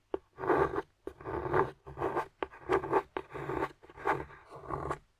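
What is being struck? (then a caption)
Solid dark chocolate bar scraped with a metal tool. A metal carving tool scrapes and digs into a flat, solid, partly broken dark chocolate bar, carving off shavings. A series of dry, rasping scraping strokes is heard, each set off by a short sharp tick of the tool catching the surface. The sound is mostly midrange, with no ringing after the strokes.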